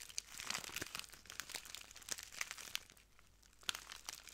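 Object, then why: Small plastic bag filled with granules. A small clear plastic bag full of translucent granules is crinkled and squeezed by the fingertips of both hands. Soft, dense crinkling and rustling is heard, broken by sharp, bright crackles and snaps. The sound is quiet and high-pitched, with almost no low end.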